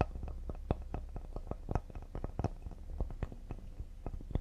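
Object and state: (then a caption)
Cedar wood serving board. Fingertips tap rapidly near the side edge of a solid cedar serving board. The taps are soft, dull and low-pitched, each dying away almost instantly, with a few slightly sharper knocks standing out from the quick, uneven patter.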